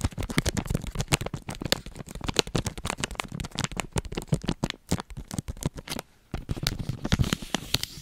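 A single oatmeal crumble bar in a crinkly plastic film wrapper, with the solid bar inside, is held in one hand and tapped and scratched with long nails. Rapid, dry crinkling taps and scratchy rustles come in a dense, irregular stream, with a brief quiet gap near the six-second mark before the tapping resumes.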